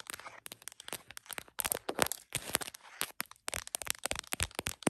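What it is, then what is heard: Smartphone in plastic case (named only). Long acrylic nails tap rapidly on the back of an iPhone's printed smiley-face plastic case and its camera lenses, while the phone sits on a tripod mount recording itself, visible in a heart-shaped mirror. The taps are sharp, bright, dry clicks that stop almost instantly, coming in quick flurries separated by brief silent gaps.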